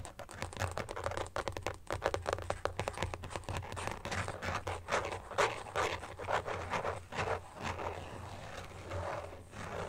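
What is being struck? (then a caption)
Carbon fibre phone case. Fingertips and short nails quickly tap and scratch across the back of a thin, hollow, phone-sized carbon fibre phone case with a weave pattern, lying flat on a fuzzy blanket. The result is a rapid stream of dry, crisp clicks and scratchy scrapes with a hollow midrange tone, over a steady low hum.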